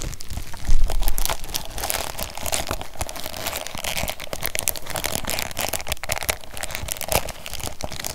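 A tall stack of nested, ribbed white disposable paper cups, sealed in a thin clear plastic bag and held in one hand, is squeezed by fingertips so the bag crinkles over the hollow, empty cups. A steady run of dense, bright crinkling and crackling rides over low handling thumps, with louder crunches near the start and again toward the end.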